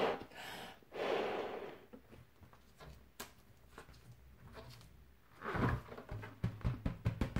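A bare hand strikes and bats the surface of a large, red, fully inflated latex punch balloon, hollow and air-filled, with an elastic band at the knot. Two airy, broad swells of sound open the clip, followed by a quiet stretch with faint taps. A quick run of deep, drum-like thumps with very short decay closes it.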